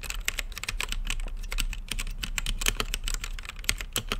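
Fingertips type quickly on an RGB mechanical keyboard with plastic keycaps and a clear acrylic case. The result is a steady stream of short, bright clacks centered around 2 kHz, with a constant low hum underneath.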